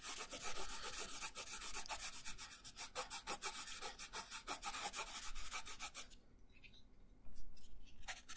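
An orange colored pencil shades a thin paper coloring page resting on a wooden table, making a steady run of quick, bright, scratchy rubbing strokes. The strokes soften into a brief quiet stretch near the end, then resume with a few more rubs.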